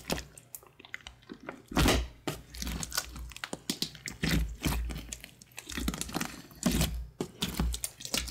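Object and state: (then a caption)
Grey glue slime. Fingertips with painted nails press, poke and squish a large, soft, glossy grey glue slime with darker flecks, made from recycled slime, on a wood-grain table. Wet, irregular air-pocket pops and crackles come through with deep low-end squelches, some brighter snaps, and short pauses between presses.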